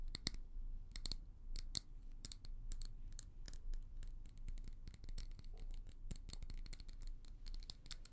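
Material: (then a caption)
Glass. Long nails scratch and tap a small, hollow amber glass tumbler with a leopard print, which looks empty. Quick, bright ticks and scraping strokes come in a steady stream over a low, constant rumble. Each contact dies away almost at once.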